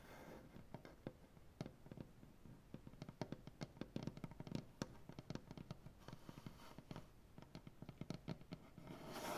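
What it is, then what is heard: Maple butcher block tabletop. Clawed nails tap and scratch with both hands across a solid maple butcher block tabletop. Many quick, dry, low-toned taps fire off in irregular bursts over a soft scratching hiss, and the hiss swells toward the end.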